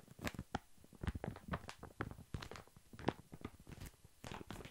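Long fingernails tap rapidly on a large, full, soft pack of baby wipes held upright in thin plastic film. Each tap gives a quick, dry crinkle of plastic over a soft, muffled thump. The taps fall in an irregular stream and stop dead, with no ring.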